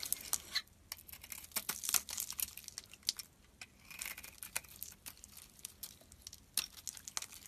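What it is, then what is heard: Bar of soap being carved. A metal utility blade carves and shaves a solid cream-colored bar of soap with pink remnants. A rapid series of short, crisp, bright scrapes and crinkly shaving sounds is heard, with almost no low end and quiet gaps between strokes.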